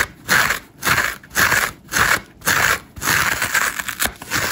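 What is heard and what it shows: A hand-sized dry layered foam massage sponge, green foam with orange and grey scour layers and a solid porous body, is held in one hand while its green foam side is scratched quickly and hard with long acrylic nails. Bursts of dry, crunchy scratching come in a fast, uneven rhythm, bright and papery with little low end, then run together into a steady, continuous scrape toward the end.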